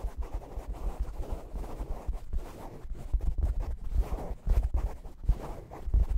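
Fingernails scratch a soft, stuffed, mustard-colored upholstered fabric cushion held in front of the microphone. The result is a steady, dull scratching and rustling with soft low thumps and rumble, and no bright edge.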